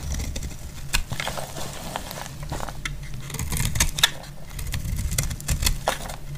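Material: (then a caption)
Soap. A metal blade cuts and scrapes a solid, dry cream soap bar, shaving off crumbly pieces. Short, bright scratchy clicks and crackles repeat over a steady low rumble.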